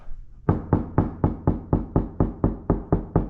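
Twelve steady knocks on a sheet metal car door panel already treated with cutting-board sound deadening give low, dull thuds that die away quickly. The deadened panel sounds much more solid, with perhaps a little vibration left.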